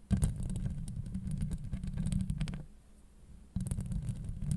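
Long acrylic nails on both hands scratch a hollow steel mesh microphone grille, producing a dense, low, rumbling scrape with quick crackly ticks. The scratching fades to a quiet lull partway through, then resumes abruptly at full strength.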